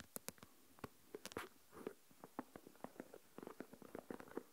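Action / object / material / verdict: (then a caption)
tap / plastic deli container with coarse salt / plastic / none. Fingernails scratch the rim and tap the top of the lid on a small translucent plastic deli tub full of coarse salt. The result is a quiet run of short, dry, clicky taps mixed with brief scratchy rasps, each dying away almost instantly, with a light midrange tone and little low end.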